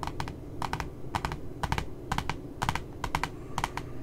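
A single long nail taps and scratches the glossy cardboard cover of a puppy notebook up close. Light, crisp clicks come in quick clusters of two or three, each dying away almost at once, over a soft low rumble.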